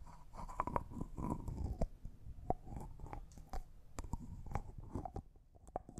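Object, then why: Small glass jar with plastic screw lid. A small, hollow, clear jar that looks like glass and appears empty is held in both hands while nails and fingertips twist, rub and tap its white plastic screw lid. Quick, dry clicks and taps sound over a soft scraping rustle, with a faint tone near 970 Hz ringing briefly after some of the sharper hits.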